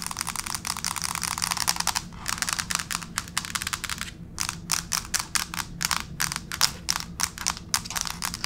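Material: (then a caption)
Laminate. Both hands with long pink fake nails tap rapidly on a flat gray wood-grain plank laminate floor. The result is a dense run of sharp, bright clicks that die away almost instantly, with brief pauses between bursts and a faint low hum underneath.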